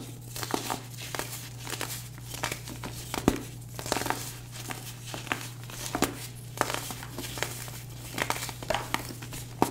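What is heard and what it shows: Bare fingertips squeeze and crush light-blue, star-shaped pressed baking soda blocks, solid and chalky, breaking them apart over a tray and leaving powder on the fingers. A steady run of dry, crunchy crumbles and sharp brittle snaps sounds over a constant low hum. The pieces break down into chalky fragments.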